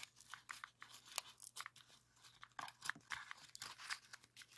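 A rainbow heart-shaped origami pop-it made of folded colored paper is held in both hands while thumbs press its hollow red and orange paper bubbles. A rapid series of quiet, dry, bright pops and crinkles follows, each one short with almost no ring and very little low end, over a faint steady low hum.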